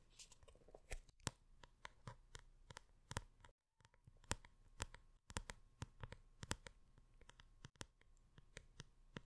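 Long red-painted nails scratch and tap the textured printed paper cover of a large, closed hardcover art book with Diablo cover art, held upright close to the microphone. Quick, sharp clicking taps with bright edges are mixed with soft, dry scratching and a low rustle, broken by a few brief silent gaps.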